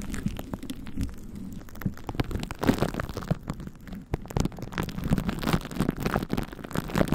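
A plastic glue stick is rubbed and dabbed onto a microphone head wrapped tightly in clear plastic cling film with a purple glue layer on top. Sticky smearing and quick taps on the film give a dense stream of short, low, muffled crackles, dipping briefly to near silence just after the four-second mark.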